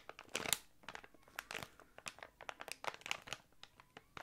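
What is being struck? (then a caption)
Thick clear plastic bag with contents. A small, thick, clear plastic packaging bag with contents inside is crinkled and squeezed with fingertips close to the mic. It makes dense, bright crinkling and crackling in quick irregular bursts, loudest near the start. Each burst cuts off with almost no ring and there is very little low end.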